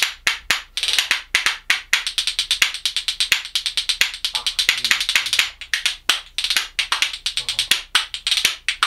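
A pair of dense, dark lignum vitae wood percussion spoons is held in one hand and clacked rhythmically against the palm and knee. It produces a fast, steady run of dozens of sharp, dry clicks, bright and high-pitched with almost no low end, each dying away almost instantly.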